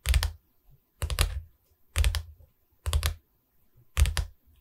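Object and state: Wooden canvas frame tapped with fingernails.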